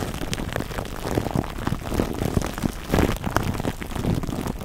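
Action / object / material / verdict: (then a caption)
scrape / plastic cling film wrapped around a foam microphone windscreen / plastic film / none. Fingertips rub and squeeze clear plastic cling wrap stretched over a black foam microphone windscreen cupped in both hands, making crinkle sounds. A dense, continuous crackling and rustling, heavy in the low end, swells louder around the middle and again near three seconds. The crinkles stay close and muffled throughout.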